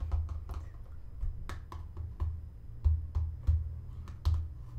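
A medium-size, dark green plastic lotion pump bottle with a white label, hollow and apparently filled, is held and tapped with fingernails. The taps come as a quiet, irregular series of short, dry clicks over a low, dull thump, each dying away almost at once.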